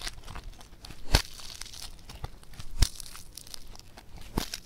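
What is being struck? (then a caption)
Foam bead clay. Both hands stretch and tear a blue multicolor foam bead clay (floam), making a soft, steady crackling and crinkling texture. Three sharper, louder snaps stand out as the clay pulls apart, each with a brief low thump and a bright crackle.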